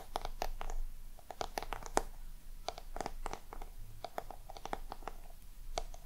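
Long nails scratch across the scaly surface of a small, round, hollow black crocodile-embossed box. The result is a rapid, irregular run of short, crisp scratching clicks with bright edges and a faint hollow resonance around 800 Hz, over a quiet low rumble.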